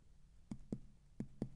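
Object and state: Dull percussion note over the liver.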